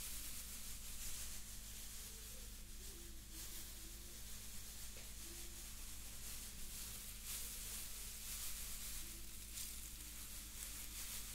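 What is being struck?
Nothing is struck.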